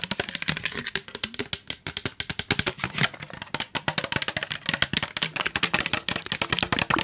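Fingertips and nails tap a hand-sized, hollow, yellow translucent plastic trigger spray bottle that is partly filled with liquid, striking both the bottle and its trigger head. The result is a rapid, continuous stream of short, crisp clicks and taps with very little ring. The taps are bright and sharp, with some hollow lower body.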